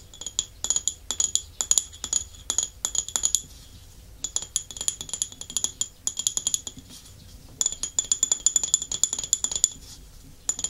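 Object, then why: Small glazed ceramic dish. Fingernails and fingertips tap and scratch the glazed underside and foot ring of a small, empty, thin-walled white scalloped porcelain or ceramic dish held upside down. Quick, bright, high clicks come in dense bursts separated by short pauses. Each tap is crisp and dies away almost instantly.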